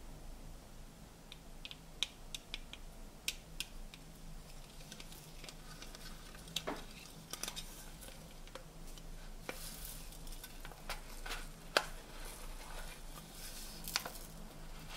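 A stack of hollow printed tinplate tea canisters is tapped with fingernails on its magenta and blue sections. The result is a scattered series of quiet, sharp, bright clicks that die away almost instantly, heard over a steady low hum.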